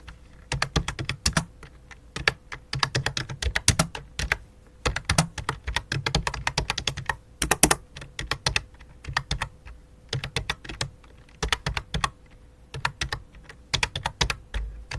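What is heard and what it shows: A full-size white and light-blue plastic keyboard resting on black cloth is typed on rapidly by both hands, the fingertips and long dark nails tapping the keys. Quick bursts of sharp, bright plastic clicks with short dull thuds come in uneven runs separated by brief pauses. A faint steady low tone sits underneath throughout.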